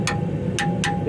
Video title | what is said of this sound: Did I Do That? | if you hit it in a different spot it's the same tone like up here down here it's probably not cracked because it's got that same resonance